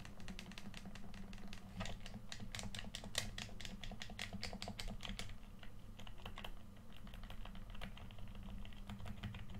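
A red, hand-sized, hollow plastic PS4 controller is held in both hands while thumbs tap and press its face buttons and sticks. Quick, bright plastic clicks come in a steady run over a constant low hum. The clicks thin out toward the middle before picking up again.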